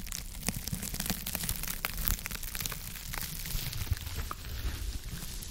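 A small, soft, porous rectangular blue textured foam sponge with a white layer is held at the mic and scratched and rubbed with long acrylic nails. The result is a steady, close, crackly scratching with dense bright crinkly clicks over a soft low rumble.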